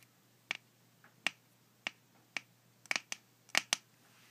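A small dark glass Marmite jar with a yellow plastic lid, apparently filled with spread, is held in one hand while the other hand's fingertips and nails tap on its glass body. The result is a series of sharp, bright, clicky taps with almost no ring, some coming in quick pairs, over a quiet background.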